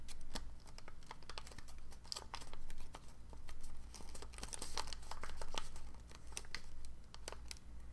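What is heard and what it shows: Fingertips squeeze and crease a small folded dark blue origami figure of thin paper, held above a book. Quick, bright crinkles and sharp crackles come in uneven bursts over a steady low hum.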